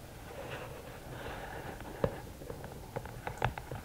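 Long nails tap the top of the lid of a closed, hollow red and black rigid cardboard gift box. After a quiet stretch of soft hiss, about seven short, dull taps land at an uneven pace with a faint hollow knock and almost no ring.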